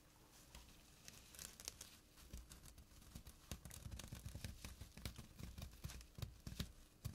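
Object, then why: Jute burlap drawstring pouch. Fingertips and short nails scratch the coarse weave of a small, flat jute burlap drawstring pouch lying on a surface. The result is a dense run of dry, rasping scrapes and crinkly tearing-like bursts with bright hiss on top. A low rumbling body underneath grows busier and louder in the second half.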